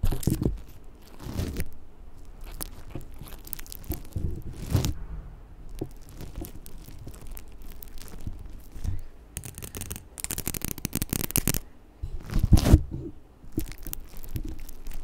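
Extra long acrylic nails tap and scratch the top of the mesh grille on a large black metal USB condenser microphone. The result is a close, crunchy mix of scraping, crinkly rustling and soft thuds with deep low-end boom, broken by sharper bursts of bright, hissy scratching. The louder flurries come around the five-second mark, again from about ten to eleven and a half seconds, and at about twelve and a half seconds.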